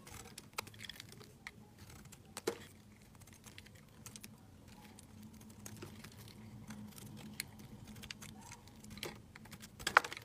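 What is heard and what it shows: A utility knife blade shaves curls and chunks off a solid white bar of soap held in the hand. Quiet, sharp scraping clicks come in a steady irregular series over a faint low hum, with a few louder snaps, the sharpest near the end.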